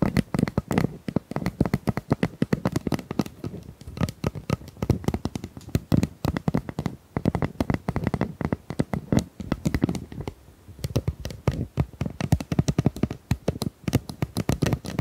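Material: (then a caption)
Plastic. Long nails tap and scratch along the ribs of a hollow, pink corrugated plastic pop tube about 25 cm long. The result is a steady stream of rapid, dry clicks and ridged scrapes, dull and low-heavy, with each tap dying away almost instantly.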